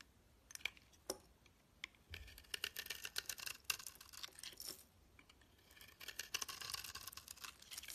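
A solid rectangular pale green bar of soap, held in the hand, is shaved into curls with a metal utility knife blade. The result is a quiet run of crisp, bright scraping strokes with a papery, crinkly texture and very little low end, each stroke cutting off quickly.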